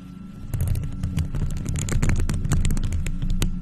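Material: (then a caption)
Metal mesh. Long nails in faux leather gloves quickly scratch and tap a round, hollow, silver metal mesh microphone grille. A deep, boomy rumble carries rapid, irregular scratchy clicks and sharp taps, with the sound swelling in after the first half second and staying steady to the end.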